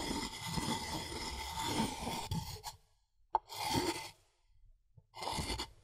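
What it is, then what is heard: Wooden mortar and pestle, grinding. A wooden pestle is rubbed and ground against the inner wall of a light, hollow, empty wooden mortar, making a dry, raspy scraping with a faint ringing tone. A long grinding stroke is followed by a pause, one sharp knock, then shorter bursts of scraping separated by quiet gaps.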